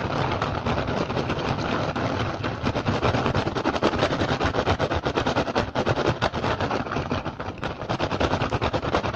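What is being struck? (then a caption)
Upturned woven rattan basket. Fingertips and short nails of both hands aggressively tap and scratch an upturned, hollow, empty woven rattan basket. The result is a fast, dense, continuous patter of dry, crackling taps and scrapes with a mid-range body and little low end. The strikes are too rapid to separate.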